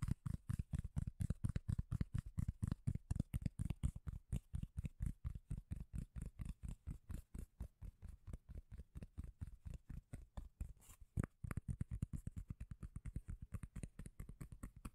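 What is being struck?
Round cork lid.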